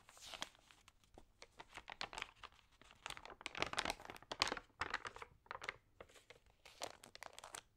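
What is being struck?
Thin glossy magazine paper.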